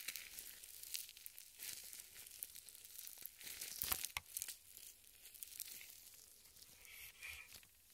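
Purple nitrile gloves smeared with white lotion on both hands are rubbed and squeezed together, palms and fingers, close in front of a microphone. Quiet, wet squelching crinkles and sticky, tearing-like rustles come in an irregular, rapid stream of soft bursts, mostly bright and high with almost no low end. The sound swells around the middle before settling back to a softer rustle.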